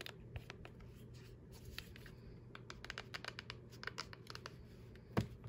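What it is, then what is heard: Plastic TV remote control. Long acrylic nails tap and scratch on the body and rubber buttons of a black, hollow, hand-sized plastic LG TV remote, first as it lies on a tablet case and then as it is held in the hand. Quiet, dry, clicky taps and brief scratches come in a rapid, irregular series over a steady low hum. One sharper, louder tap stands out near the end.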